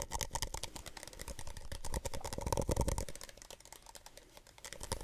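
A plastic Solo cup is softly tapped in a quick, uneven run of short, dull taps with a bright, crisp edge, each dying away almost instantly. A little quiet whispering sits over the taps, and the tapping swells briefly before easing off again near the end.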